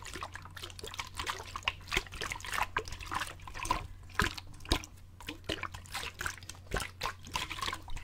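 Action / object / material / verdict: shake / plastic bottle with water / plastic / none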